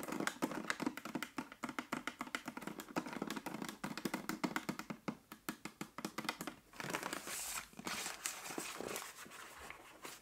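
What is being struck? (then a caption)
Plastic water bottle partly filled with water. Long nails rapidly tap the body and label of a 1.5 L clear plastic bottle partly full of water, producing dozens of short, dry, clicky taps with a hollow plastic tone. Toward the end, the tapping blurs into a denser, brighter crinkling scratch across the label.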